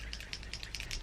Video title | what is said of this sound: 🎄VLOGMAS EP2 :Mon coin colo prend forme,Colis, je KIT tout | il a une petite une petite bille je pense que vous entendez une petite bille quand on les secoue